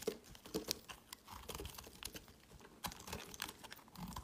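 A metal utility knife blade shaves and carves a solid, pale green, embossed, hand-sized bar of soap held in the hand, starting from an intact bar. The cuts make dry, crisp scraping and crinkly crunching sounds, with sharp, bright strokes over quiet gaps and no ringing after each cut.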